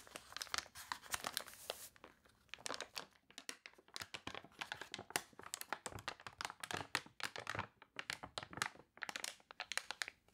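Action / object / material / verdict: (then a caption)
scrape / glossy paper catalog pages / paper / none. Long nails scratch and rub the crinkled, glossy pages of a water-warped paper toy catalog, then turn a page. The result is a dense run of bright, crunchy crinkling and scraping bursts, with almost no low end and no ringing after each rub.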